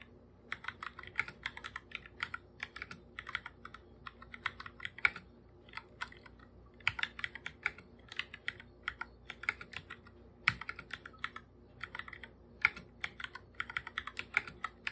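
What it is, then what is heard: Plastic computer keyboard. Bare fingertips type fast on a full-size black computer keyboard with plastic keycaps and a hollow body. The result is a steady run of sharp, bright plastic clicks in quick bursts with brief pauses. Each tap dies away almost instantly over a quiet background.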